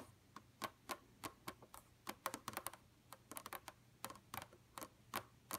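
Two hands with long, pointed, pink-red painted nails rapidly tap the nail tips on a flat, dark computer monitor screen. About twenty sharp, clicky taps with a tone near 1 kHz and bright high edges come in uneven bursts, each dying away almost instantly, over a quiet background.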